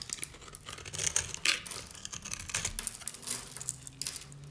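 A metal utility-knife blade scrapes the pre-scored grid off a solid oval bar of dry, striped purple and pink soap held in the hand. The soap crumbles away in a dense run of bright, dry crunching and crackling with quick scraping textures. It has very little low end, and each crackle dies away almost instantly.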